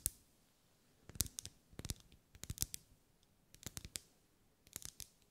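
Long acrylic nails tap on a lit, pink, ribbed, solid wax pillar candle. A single tap is followed by five quick clusters of sharp, bright clicks, each dry and short with no ring.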